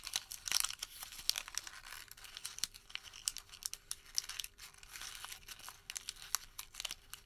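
A white thermal paper receipt is squeezed into a small wad and rolled between the fingertips. It gives a dense run of bright, dry crumpling and crinkling crackles with sharp snaps, and almost nothing in the low end. A faint steady tone sits underneath through the second half.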